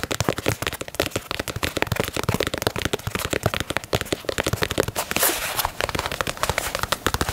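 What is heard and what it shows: Fingernails tap rapidly on the toe box and side of a black and white leather Nike Dunk sneaker, producing a fast, dense run of about 39 sharp, dry clicks. The clicks are bright and die away almost instantly, with a brief scratchy hiss around the five-second mark.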